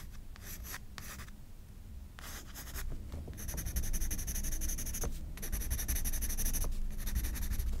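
A graphite pencil scratches rapid, dense hatching strokes across a white paper page of a spiral sketchbook. Bursts of bright, dry scratching come in quick runs separated by short pauses, over a steady low rumble. The strokes grow louder and denser in the second half.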